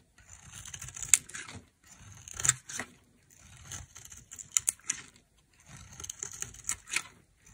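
A knife carves and chips chunks off a solid white oval bar of dry soap held in the hand. Four bursts of bright, dry scraping and crackling, separated by short pauses, are punctuated by sharp snaps as pieces break away.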